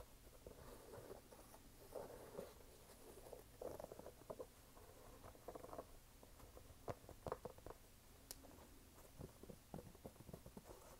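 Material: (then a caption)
Canvas, rubber. Fingertips tap and scratch along the canvas upper and laces of a single empty, lightweight red canvas low-top sneaker with a white rubber sidewall, held up in both hands, then move to its brown waffle-pattern rubber sole. The sound is a quiet, soft patter of short, dry taps and brushing scratches centered in the mid-range, over a faint steady low hum.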